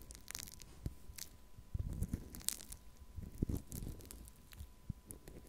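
A small plastic cup of pink foam-bead pearl clay, held up in one hand, is scratched and poked with a thin wooden stick. Soft, quiet crunches, crackles and squishy pops sound in an irregular run, weighted toward low thuds with faint bright crackling above.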